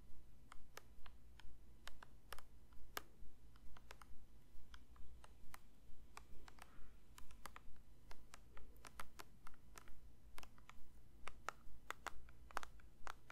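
A plastic lotion bottle is lightly tapped with the fingers. Short, dry clicking taps land in a steady, even rhythm over a low, constant hum. Each tap dies away almost instantly.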